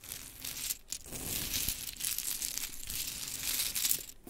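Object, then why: Small wooden clothespins on fabric. Hands with long chrome nails scoop a pile of pink wooden mini clothespins on glitter fabric, then scratch and rake through it with the nails. The sound is a bright, dense clatter and crinkly rustle of small wooden pieces shifting, nearly continuous with short pauses just before one second and near the end.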